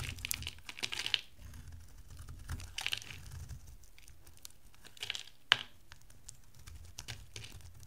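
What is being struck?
Bar of soap cut with a metal blade.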